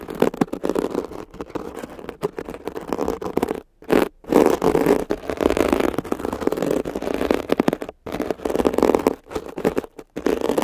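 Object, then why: Foam sponge with mesh cover. A thin metal ear pick scratches a soft, compressible, blue palm-sized foam sponge with a glittery woven mesh cover that rests over the microphones while fingertips hold it. The result is dense, crackly scraping and rustling centered in the low-mids, broken by brief silent pauses near 4, 8 and 10 seconds.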